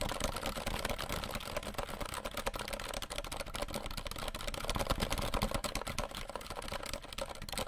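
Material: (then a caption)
Plastic. Fingertips of both hands tap quickly on the plastic keycaps of a compact 60% RGB mechanical keyboard held behind the microphone. The result is a dense, irregular stream of short, dry clicks and soft low thumps that overlap almost continuously with only brief dips.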